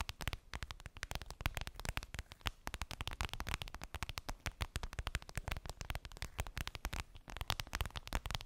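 Long pink nails tap and scratch a flat, transparent clear vinyl (PVC) makeup bag with a daisy print and a zipper, lying on fluffy fabric. A rapid, continuous stream of short, dry clicks and crinkly scratches runs throughout, with a low thump under each tap and a bright crackly edge.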